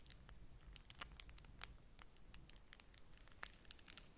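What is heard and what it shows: A single folded beeswax-coated cotton food wrap with a bee print, held over a stack of other wraps, is scratched and crinkled by long manicured nails and fingertips. The thin, waxy, flexible sheet gives a quiet, steady stream of dry, bright crinkles and sharp scratchy ticks over a low background rumble, with a few louder crackles standing out.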